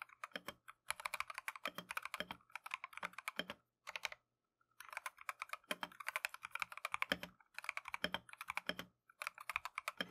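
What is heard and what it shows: Gloved fingertips type continuously on a plastic Keychron V1 mechanical keyboard with Tangerine switches and green and cream Matcha PBT keycaps. The result is rapid, bright, clacky taps with almost no low end, running in bursts with brief pauses around the middle and near the end.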